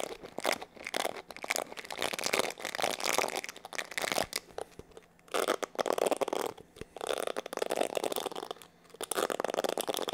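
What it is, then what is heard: Plastic paddle hair brush. Fingertips scratch and rub the bristles and body of a black plastic paddle hair brush with an oval hollow back. The result is dense, crackling, crinkly scratching in bursts, centred around 500 Hz and extending bright into the highs, with brief quieter pauses near 5 and 9 seconds.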